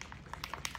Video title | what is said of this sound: Zen Art Supplies 17 Brush Set - REVIEW | you can hear a ball in there you got to shake it till you hear that ball